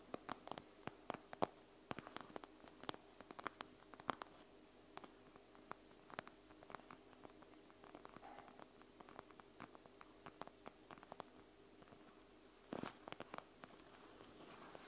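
Fingertips and nails tap and scratch across a panda gel bead eye mask, a clear plastic mask filled with gel beads lying flat on a table. Dozens of quiet, sharp clicks and short scratchy swipes come in quick, irregular bursts over a faint steady hum.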